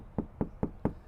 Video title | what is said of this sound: SOUND DEADENING My 2025 Toyota Land Cruiser Front Doors - Complete Tutorial | I already tackled this front passenger door, which you can hear right now. Nice and solid.